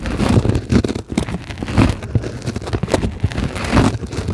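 A flat white sheet of solid closed-cell polyethylene foam is scratched and tapped with long glittery acrylic nails on both hands. The result is a dense run of soft, muffled crackling and dull taps, mostly low and thuddy with a little faint high scratchiness. The sound ebbs and swells throughout.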